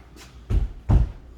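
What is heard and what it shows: Three knocks on an interior house wall between a bedroom and an arts and craft room, checked to see whether it can come down or is load bearing. The first knock is faint and the next two are dull, low thuds that die out almost at once. The wall sounds solid and is judged a support wall that can be opened up only with a header across the span.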